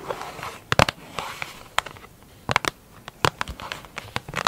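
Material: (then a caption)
Plastic. Long acrylic nails rapidly tap and scratch a large, hollow, round black plastic lid with a clear plastic top. Sharp, bright clicks come in quick uneven bursts, with a hollow plastic ring around 880 Hz, over a soft scratchy rustle between the taps.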